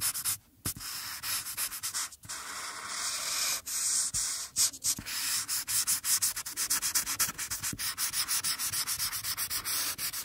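An alcohol marker's felt tip is rubbed back and forth in short coloring strokes across a thin, flat printed paper coloring page lying on a table, shading the face while the other hand, with long painted nails, rests on the sheet. The result is a quick run of bright, hissy, scratchy rubbing strokes with almost no low end, broken by brief pauses between bursts.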